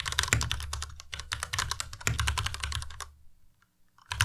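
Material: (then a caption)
Plastic. Fingertips of both hands type fast on a white plastic tenkeyless Ducky Miya Pro mechanical keyboard, producing a dense stream of clacky keystrokes with bright clicks over a low thock. The typing stops for about a second near the end, leaving near silence with a few faint taps, then resumes with a loud burst of keystrokes.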